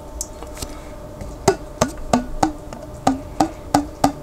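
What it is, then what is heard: Glass jar with plastic lid, partly filled with water. Fingertips tap the white plastic lid of a large clear glass Vlasic pickle jar, partly filled with water and held on its side. After a few faint early taps, eight sharp, hollow, woody knocks follow at an uneven pace, each with a brief mid-pitched tone that dies away quickly.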